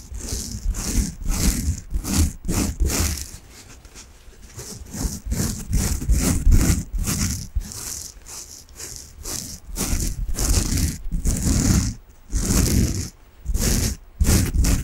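A soft peach foam bath sponge, held in both hands, is rubbed and scratched with long nails. The result is a steady run of rhythmic, raspy scratching strokes with a deep, muffled low rumble under bright, hissy bursts, broken by a few brief pauses.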